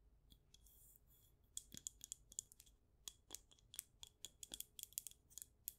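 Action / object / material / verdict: tap / wax-filled glass candle jar / glass / none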